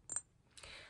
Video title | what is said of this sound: HOW TO REDUCE ANXIETY....USING FRAGRANCE!!?? 🧐🧐 | i can hear the clinking noise when i tap on it